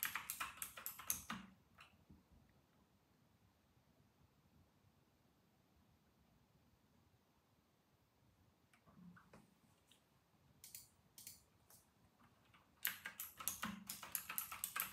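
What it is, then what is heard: Plastic mechanical keyboard. Fingertips of both hands type at a slow pace on a full-size white RK960 mechanical keyboard with round retro plastic keycaps, producing bright, sharp plastic clacks. A quick burst of keystrokes opens the clip, followed by a long near-silent pause, a few scattered presses, and then steady typing resuming through the end.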